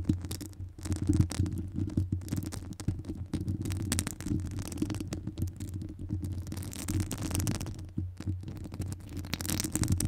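Long acrylic nails scratch across the top of a hollow metal wire-mesh microphone grille. The result is a dense, low, throbbing rumble of rapid scraping strokes with a steady boomy low tone and only faint bright crackle above it. The strokes run continuously for the whole clip, swelling and easing slightly in loudness.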